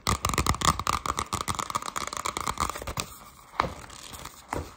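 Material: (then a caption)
Cardboard. Long pastel acrylic nails rapidly scratch and tap the cover of an upright, about A5, hardcover spiral-bound notebook with a printed navy sun-and-moon cover, solid and flat. Dense, fast, crinkly scratching with a faint steady tone near 1.2 kHz fills the first three seconds. It then thins to quieter rubbing punctuated by two sharp, louder taps.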